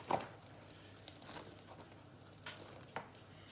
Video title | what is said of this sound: focaccia aux pdt râpées/Recipe for focaccia with grated potatoes | ça croustille elle est prête à être dégustée